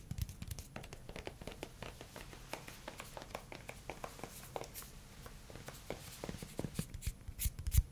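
A pink silicone spatula with a long dark handle and a solid, flexible head is tapped and scratched with fingernails, then fingertips. Quick, soft, dull taps and light scratches come in a steady stream at a low, close level, with brief bright clicks and a few sharper taps near the end.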